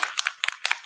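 An aerosol can of acrylic media gloss spray, with a heavy layer settled at the bottom, is shaken to mix it, rattling the bead inside. Short, bright, clicking rattles come in three quick pairs with almost no low end, each tap dying away instantly.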